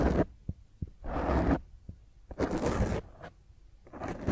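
Long fingernails scratch across the top of a black, soft porous foam microphone windscreen. Rough, broadband scraping bursts alternate with short, deep thumps and quiet gaps, and each burst reaches high into a bright hiss over a heavy low rumble.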